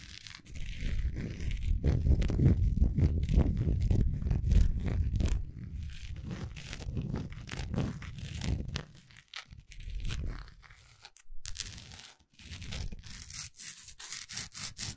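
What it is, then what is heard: Wax pillar candle. Long acrylic nails scratch and tap along the textured surface of a large solid wax pillar candle held sideways. A dense run of crinkly scraping in the first half gives way to quicker, sharper taps and scratches with brief pauses between bursts.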